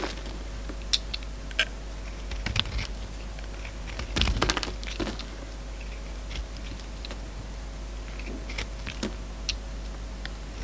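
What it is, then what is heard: Soap bar being shaved. A hand-sized solid orange soap bar held in the hand has curled strips shaved off it with a steel utility-knife blade. Soft, scattered scraping clicks and brief crisp snaps sound over a steady low hum, with a denser cluster of cuts around the middle of the clip.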